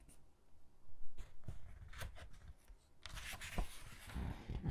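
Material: Glossy paper.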